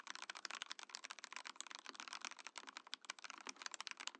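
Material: Plastic.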